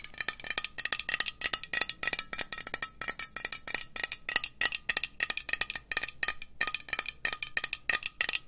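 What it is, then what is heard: Metal aerosol spray can. Long nails tap quickly on a hollow green metal aerosol spray can, making a rapid, uneven run of bright, clicky metallic taps. Each tap dies away almost at once, with a faint steady ring around 1.2 kHz and almost no low end.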